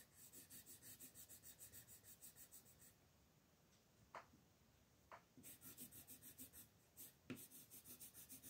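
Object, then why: Wooden colored pencil on a paper coloring page. A brown wooden colored pencil is rubbed quickly back and forth over a flat printed paper coloring book page on a table, shading a curtain at the right edge of the page. Fast, steady scratchy strokes with a bright papery hiss fill the first few seconds, then a quieter pause broken by a couple of light taps, before the brisk rubbing resumes until the end.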